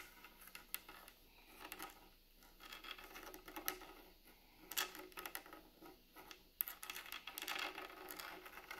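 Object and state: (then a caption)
Wooden plank table top. Long nails tap and scratch across a large, solid, rustic wooden plank table top and along the seams between the planks. The sound is a quiet, bright, dry patter of clicks mixed with raspy scraping strokes. It comes in uneven bursts with short pauses between them.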